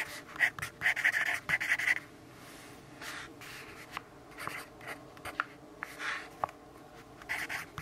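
A yellow pencil writes continuously on the surface of an open lined paper notebook, making dry, scratchy strokes. Quick, loud bursts of scratching come in the first two seconds, then the strokes turn softer and more scattered, with a bright, papery hiss centered near 2 kHz.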